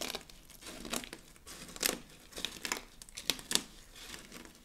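Palms and fingers press down on a wide, flat layer of mixed dry soap flakes, crushing them. The result is dry, crinkly crunching in irregular bursts, bright and mostly high in tone, with no low body and no ring after each crush.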